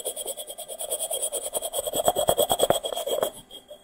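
A small, hollow, unglazed, dry terracotta clay pot made of stacked rounded sections is held up and tapped with fingertips and nails. About 23 quick, light taps follow one another in an uneven rhythm, each a short, dry, hollow click with a mid-pitched ring around 700 Hz. The taps peak in the middle and fade out softer at the end.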